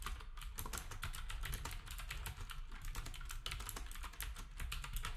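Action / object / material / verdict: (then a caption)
tap / plastic keyboard with round keycaps / plastic / none. Fingertips of both hands type steadily on a black typewriter-style retro keyboard with round plastic keycaps. The result is a dense run of quick, bright plastic clicks and clacks over a steady low rumble, with short ringing after each keystroke.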